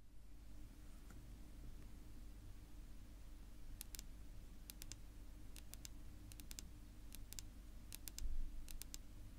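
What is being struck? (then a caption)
Wooden table top tapped with fingernails. Long, natural, pink-polished fingernails of one hand tap and click on a flat, solid, dark wood-grain tabletop. Quick, sharp, bright clicks come in small clusters over a steady low hum, beginning after a quiet stretch and continuing to the end.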